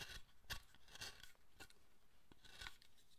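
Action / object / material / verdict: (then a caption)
scrape / carved wooden figure / wood / none. A chisel cuts and scrapes a large, solid carved wooden Buddhist statue of the guardian Zōchōten, held in the left hand. Short, crisp cuts with bright, rasping scrapes come at an irregular pace, each one dry and quickly fading between strokes.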